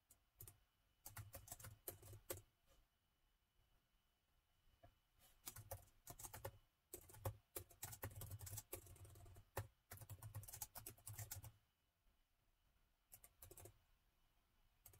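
Fingertips of both hands type on the black plastic keys of a gold laptop keyboard, producing quick, crisp clicks with a soft low thump beneath each press. The typing comes in bursts separated by short quiet pauses, and each click fades almost instantly.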